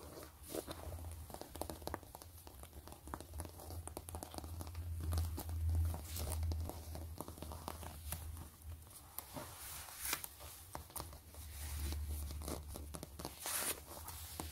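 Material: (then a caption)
Faux leather. Long nails scratch and tap across the quilted ridges of a closed, long zip-around wallet made of pebbled gray faux leather with quilted stitching. Quick, irregular, dry clicks and crinkly scratching strokes come in dense runs over a steady low hum, with no talking.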